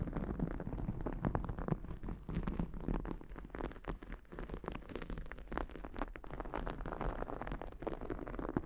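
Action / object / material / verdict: scrape / cotton terry cloth towel / cotton terry / none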